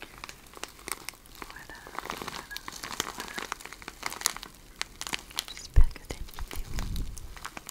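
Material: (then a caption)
Plastic film. A clear plastic bag full of cellophane shred is held close and crinkled and scratched with long red nails. Dense, bright crinkling and crackling comes through with many quick sharp ticks. A single louder thump near the end is followed by a soft low rustle.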